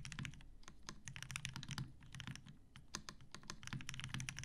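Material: Plastic, metal.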